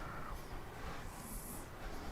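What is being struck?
Nothing is struck.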